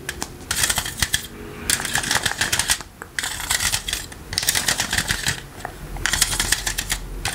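Rubber toy hands worn on the fingers tap the metal mesh and rim of a green plastic electric fly-swatter racket, first held flat and then turned edge-on. The result is bursts of rapid, bright, crisp clicking and rattling taps with short pauses between, each tap dying away almost instantly.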